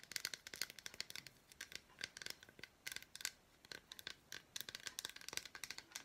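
Long black nails tap and scratch quickly across the squares of an unwrapped solid milk chocolate bar with red fruit bits. The result is a rapid, quiet stream of crisp, bright clicks and scratchy ticks with almost no low end and no ringing after each hit.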